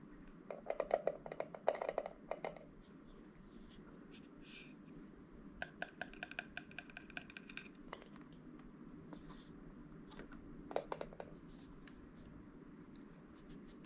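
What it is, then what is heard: Metal film camera. A vintage compact rangefinder film camera with a metal body and textured leatherette panels is held in both hands and tapped with fingertips and nails on the body and lens. Quick, dry clicks and taps come in dense bursts near the start, with a sparser cluster in the middle and another short burst near the end. Some taps have a light metallic ring, and a faint low hum sits underneath throughout.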